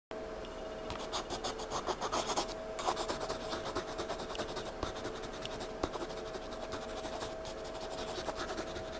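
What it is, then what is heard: Pencil scratching on a paper sketchbook page. A graphite pencil held in fingertips scratches and shades across the page of a spiral-bound paper sketchbook lying flat on a table in dim light. Quick, dry scribbling strokes rasp brightly over a faint steady hum, building a dark scribbled patch on the page.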